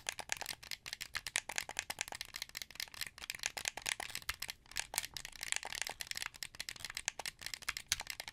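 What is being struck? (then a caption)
Hand-held plastic game controller. Fingertips press the buttons and thumbsticks of a hollow, hand-held translucent blue plastic Xbox 360 controller, making a rapid, irregular stream of short, rattly plastic clicks. The clicks are bright and crisp, with almost no low end, and each one dies away at once.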